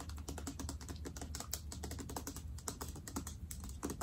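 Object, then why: Plastic soap pump bottle. Long dark-painted nails tap rapidly on a medium Bath & Body Works foaming hand soap bottle, made of clear plastic with a dark green tint, a black pump and a paper label, that is hollow, appears filled with soap, and is held near the camera. The taps come as a dense, steady stream of quick, dry clicks with a soft low thump beneath and bright edges on the sharper strikes. Each tap dies away almost at once.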